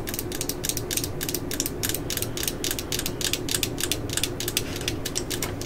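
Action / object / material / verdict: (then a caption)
tap / plastic cordless drill housing / plastic / none. Long nails tap and scratch the yellow, hollow plastic housing of a cordless drill near its clutch ring. The result is a rapid, steady run of short, bright, clicky taps with dry scratching between them, like a ratchet. A faint hollow tone sits underneath.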